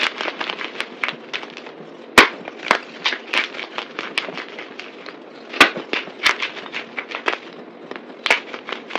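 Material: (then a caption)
Soap. Both hands press down on a pile of white, broken, dry soap chunks on a table, crunching them with palms and fingers. A steady stream of dry, bright crackling and crunching follows, with louder sharp snaps standing out at irregular moments.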